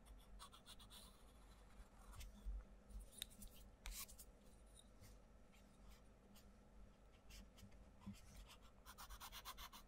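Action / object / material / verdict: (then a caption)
scrape / wooden coloured pencil on a paper colouring book page / paper / none. A wooden coloured pencil tip scratches across a page of an open paperback colouring book with butterfly drawings in colouring strokes, while the other hand holds the page. Quiet, bright, papery scratching comes in quick bursts of strokes over a steady low hum.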